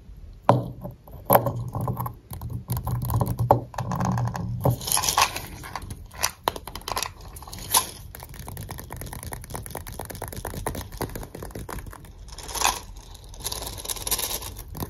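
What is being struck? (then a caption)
Plastic jar filled with tablets. Fingertips and nails tap and scratch a clear plastic jar with a blue screw lid and blue label, filled with white effervescent tablets. A few sharp, hollow taps and stretches of dry scratching give way to a dense, steady run of quick light clicks and ticks, with faint low thumps and a bright rasp running underneath.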